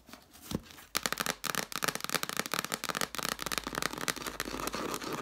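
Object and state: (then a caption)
Stack of cloth-bound hardcover books. Long nails tap and scratch the page edges and red cloth covers of a stack of cloth-bound hardcover books. After a quiet, faint start, a rapid run of dry, bright clicks and scratchy rustling sets in, each tap short with no ring. The sound stays busy and crisp to the end.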